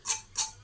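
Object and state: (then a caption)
Crisp deep-fried vegetable chop. A deep-fried Bengali vegetable chop is broken apart, giving two short, bright, crackling crunches with almost no low end, with a faint low hum underneath. The chop is very crunchy and fully crisp.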